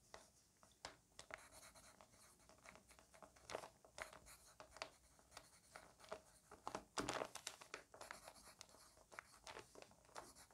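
A green wooden pencil writes a list of words on an open lined paper notebook page, its graphite tip scratching the paper. Many short, quiet, broadband strokes and scratches follow one another in an uneven rhythm, with a few louder, brighter scrapes around the middle of the clip.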